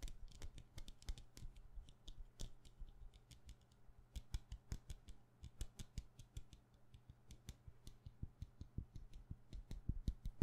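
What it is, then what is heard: Wax candle. Fast tapping on a wax candle produces a rapid run of short, dry clicks with almost no ring. The sound is quiet and sits mostly in the low range, with a faint steady hum underneath.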